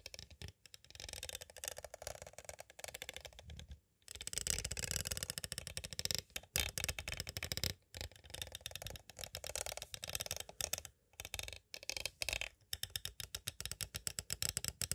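A small, hollow clear hard plastic cassette case with a paper insert stands upright while two thin green-handled pointed tools tap and trace across its surface. Dense, bright, rapid clicking and scratchy rattling fill the clip, with brief pauses between bursts.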